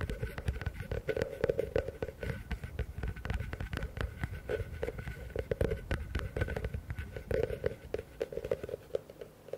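Fingers rapidly tap and scratch the walls of a medium, hollow, empty blue plastic bucket held upside down in front of the mics. The result is a dense, steady stream of quick, dry knocks with a hollow resonance near 470 Hz, mixed with soft scratching. Most of the energy sits in the low end, with very little high brightness.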